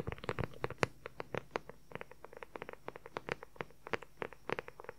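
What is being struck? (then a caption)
Leather journal cover. A dark brown leather journal cover, held upright and at an angle, is tapped and scratched quickly with the fingertips and nails. The result is a rapid, uneven patter of short, dry taps with a hollow tone around 470 Hz, mixed with light scratchy textures. Each tap dies away almost instantly.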